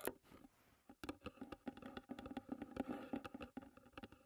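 Long red nails drum and tap on the white painted lid of a closed, hollow wooden tea box. A quick, uneven series of soft, hollow knocks has a low-mid body around 375 Hz and almost no ring. The taps clump into rapid flurries with brief pauses between them.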